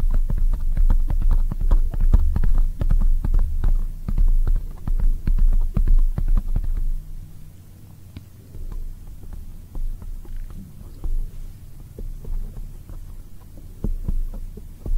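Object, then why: Foam microphone windscreen tapped with acrylic nails. Long white acrylic nails on both hands tap quickly on a black foam microphone windscreen. The result is a fast, uneven patter of deep, muffled thumps with a low hum beneath. The tapping is loud and boomy for the first half and then continues more softly.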